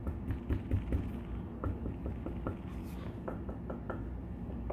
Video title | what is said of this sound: Great Guitar Blow Off Day14 Binding and tap tone testing | It sounds different no matter what finger I use to tap on it, or how hard I tap on it